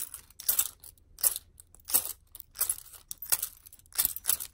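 A hand-sized bundle of metal keys, fobs and a crystal charm on a keychain is dangled and shaken vigorously by hand. The keys jangle in bright, crinkly bursts that come about every two-thirds of a second, with short gaps of quiet between them.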